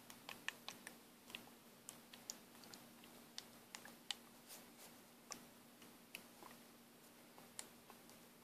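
An orange Taskolin plastic paint bottle is shaken by hand, and the mixing ball inside ticks against its walls in about 19 short, bright, dry clicks at an uneven pace. A faint steady low hum runs underneath.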